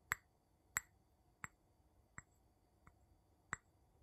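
The tip of a wooden scoop handle taps the bottom of a small, empty, clear glass jar held upside down. Six quiet, sharp clinks sound at uneven intervals, each bright and very short with almost no ring. Faint background hiss runs between the taps.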